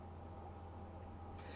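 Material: Nothing is struck.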